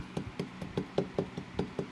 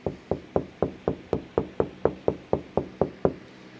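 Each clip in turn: First: hollow spot under drywall paper. Second: solid drywall, no bubbles after repair.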